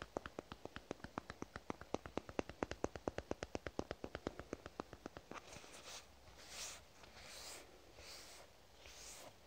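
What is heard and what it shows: A lavender soft plastic squeeze tube is tapped with a fingernail in a quick, steady run of about forty short, dry clicks for roughly the first five and a half seconds. The tapping then gives way to slower fingernail scratching across the plastic, heard as soft, bright rasping swells.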